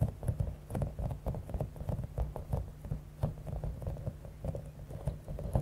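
A palm-sized clear soft rubber stress ball with a spiky top, filled with small blue and pink beads, is tapped and scratched with long acrylic nails. The result is a dense, continuous run of soft, low, quick taps and crinkly scratching with a faint bead rattle, lasting just under six seconds.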